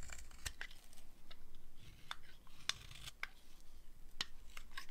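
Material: Soap.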